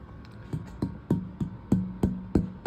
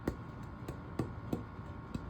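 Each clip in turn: First: cedar soundboard, rings resonantly. Second: dense hardwood ukulele back, low resonance.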